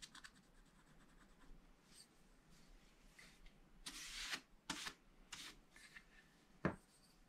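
A wooden stylus scratches lines into the black-coated page of a scratch-art paper sheet in a spiral pad. Quiet, faint scraping gives way to a series of louder, bright, hissy scratch strokes with short gaps between them, ending on one sharp, louder scrape.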